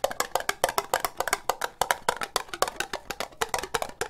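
Long nails tap quickly on a hollow, empty, orange ribbed plastic cup. About 30 short, dry, clicky taps come in a fast, slightly uneven run, each with a hollow knock centered near 950 Hz and a bright nail-tip edge. Each tap dies away almost instantly.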